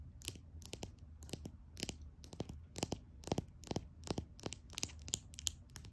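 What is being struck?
Small glass nail polish bottle.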